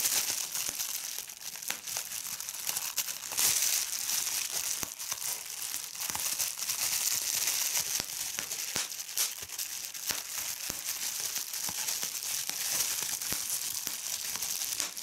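A large sheet of clear plastic bubble wrap is crumpled by hand over a cloth, giving a continuous bright, high crinkling with occasional sharp bubble pops. The sound stays fairly steady in level throughout, with almost no low end.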